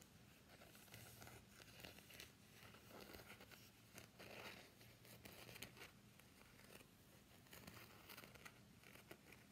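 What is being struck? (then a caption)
Soft plastic phone case. An empty translucent soft plastic phone case with a floral print is held in the hands and bent while fingernails scratch and rub across it. The result is a steady, quiet stream of crinkling, scratching and light crackling, with frequent small clicks throughout.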